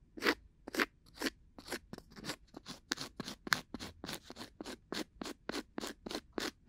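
A thin, solid, coaster-sized round cork disc, held in one hand beside a binaural mic, is scratched with two bamboo ear picks held together in short scraping strokes. A steady series of brief, dry, crunchy scratches sounds at about two per second with an uneven rhythm, each stroke bright and crisp with almost no ring and little low end.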